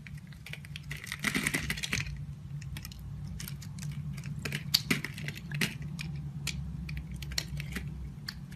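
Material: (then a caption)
Soap. A utility knife blade shaves chunks off a solid, oval, pale yellow bar of soap held in a hand with long white nails. Quick, crisp clicks and brief bright scrapes repeat over a steady low hum, with a denser burst of scraping early on.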